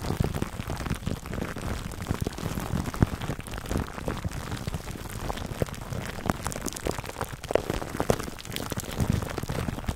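Fingertips scratch clear plastic cling film wrapped over a black foam microphone windscreen. A dense, continuous crackle of tiny crinkles and soft pops runs for the whole clip, with a muffled, low-heavy body and little brightness, like rain pattering on a surface.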